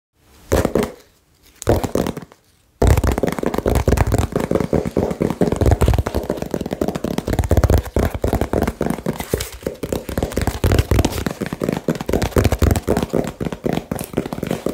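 A small, hollow brown cardboard shipping box with blue tape, held in the hands, is rapidly tapped with fingertips and nails. After two brief rustling bursts, a dense, fast, uneven stream of dull, low, hollow thumps and clicks begins and continues to the end. Each tap is short with almost no ring.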